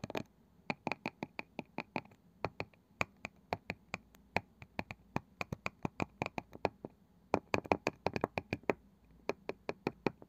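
A wooden object is tapped in quick, rhythmic bursts. The result is a long run of short, dry clicks that die away almost at once, with brief pauses between groups.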